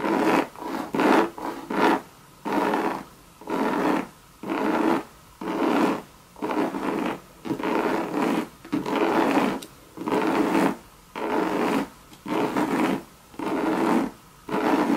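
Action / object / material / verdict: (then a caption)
scrape / coated canvas handbag with leather trim / coated canvas / none. Long red nails scratch and rub across a hollow Louis Vuitton monogram bucket bag made of coated canvas with leather trim. About eighteen separate bursts of dry, raspy scraping come at an uneven pace, each one mid-pitched with a faint bright edge, and quiet gaps fall between them.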